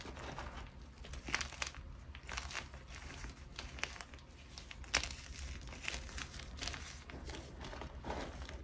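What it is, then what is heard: Hard gym chalk chunks being crushed. Fingers with red nails press, crush and rub a spread-out pile of harder white gym chalk (magnesium carbonate) flakes and chunks flat against a surface. Continuous dry, gritty crunching and crinkling comes in bright bursts, with a few sharper crackles over a steady low hum.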